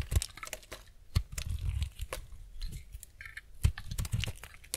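A utility-knife blade shaves the corner and edges of a solid, semi-dry white bar soap held in hand, making rapid scraping cuts. Quiet, crisp crunching and tearing scrapes come in quick bursts, each with a soft low thud and bright crackle that stop almost at once.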